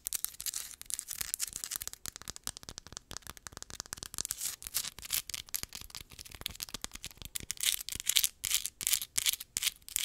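Long nails scratch fast across a palm-sized, solid, rough crystal geode rock with a pale crystal face. The result is a dense run of dry, bright, hissy scratching bursts in an irregular rhythm, with almost no low end and no ring after each stroke.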